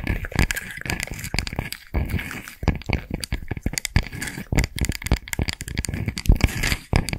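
Long nails scratch across the woven surface of a round straw coaster held close to the mic. A continuous run of short, dry, crackling scrapes carries deep, thumpy bursts and a bright rasp, with each stroke ending almost at once.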